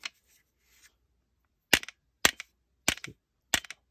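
A metal rifle buffer tube fitted with a JP Enterprises silent captured spring buffer system is tapped hard, giving sharp, bright clicks that die out almost instantly, each followed by a quick small rattle. No spring twang is heard, because the smaller captured spring does not touch the tube wall. The leftover sound comes from the assembly being a bit wobbly in the hand.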